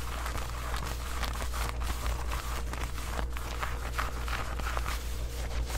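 Long white acrylic nails scratch along the waistband and front of worn black distressed denim shorts made of soft fabric. Short dry rasping strokes come in quick succession over a steady low hum, staying at an even, moderate level throughout.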